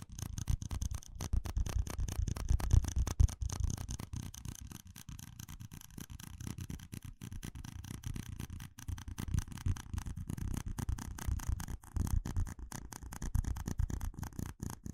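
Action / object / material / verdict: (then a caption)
scrape / stack of small plastic cups / plastic / none. A stack of small, hollow red plastic cups is scratched and tapped with fingertips and nails. A dense, rapid run of short, dry clicks and scrapes continues for the whole clip. The sound is heavy in low thuds, with only faint high, bright texture above.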